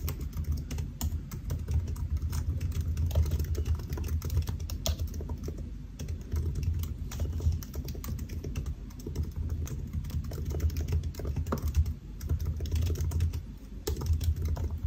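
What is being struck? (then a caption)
Aluminium laptop keyboard with plastic keys. Fingertips of both hands type rapidly on the black plastic keys of a solid silver aluminium laptop resting on a white desk. The result is a continuous stream of short, dry key clicks over a steady low hum.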